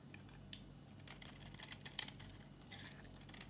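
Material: Soap.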